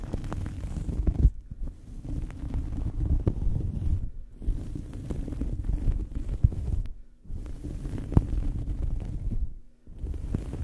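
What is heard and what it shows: A small fabric towel draped over a microphone is scratched and squeezed with the fingers of both hands. It makes a dense, muffled, low rumbling scratch with soft thumps. The sound comes in steady bursts separated by brief quiet pauses.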